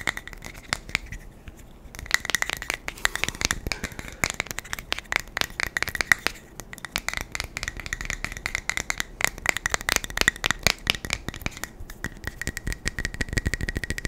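A small metal beard balm tin is tapped fast and aggressively with the fingers, producing a dense stream of sharp, rattling taps with brief pauses. The clicks are bright with almost no ring, over a steady metallic tone near 2 kHz.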